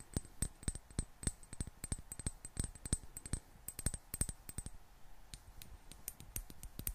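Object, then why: Small glass bottle with metal screw cap. Long black-painted nails tap a small clear glass bottle with a gold metal screw cap, partly filled with water and held in one hand. A steady stream of quick, light clicking taps comes in uneven bursts, each with a thin, high glassy ping that dies away almost at once. Quieter, sparser taps follow near the end.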